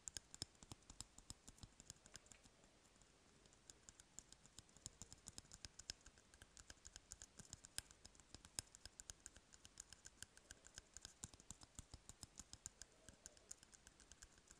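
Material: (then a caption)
Cardboard. Fingertips tap rapidly on the side of an empty, hollow cardboard toilet paper roll held in one hand. The result is a steady stream of quiet, dry, clicky taps with a bright, papery tone, each one dying away almost instantly. The taps continue without pause for the whole clip.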